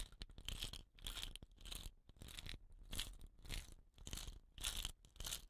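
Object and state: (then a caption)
Bamboo rain stick rubbed and rolled. Fingers rub and roll a hollow, painted bamboo rain stick with rattan caps on both ends across a cloth. Uneven bursts of bright, scratchy rustling and crunching rise and fade about every half second to a second, over a soft low rumble of handling.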